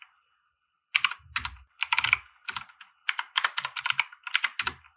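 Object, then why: Plastic mechanical keyboard keys. A compact 60% mechanical keyboard with white plastic keycaps and RGB lighting, resting on a felt desk mat, is typed on with the fingertips of both hands. After a brief silence, rapid bursts of bright, crisp plastic clacks follow one another, with occasional soft low thumps. Each keystroke stops almost instantly.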